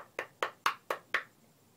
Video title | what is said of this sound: ZGB response vid: baseball bat mod, the aqua bat. | because it's full of water it kind of sounds like wood